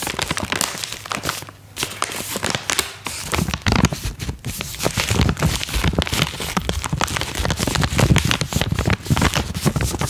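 A small pink Vitakraft "Mininos" cat treat pouch made of plastic foil, apparently filled, is held in both hands while fingertips and long nails crinkle and squeeze it. The result is a dense run of crackling, rustling crinkles with bright, sharp edges over a low, soft body, easing briefly near the two-second mark. The crinkling then grows louder and stays busy to the end.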